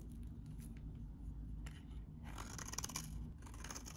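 A metal utility knife blade scrapes a solid, very dry, vintage oval pink bar of soap held in the hand, shaving it into flakes. Quiet, crisp, bright scratches come in short bursts, then thicken into a denser, louder stretch of crunchy scraping in the second half, over a steady low hum.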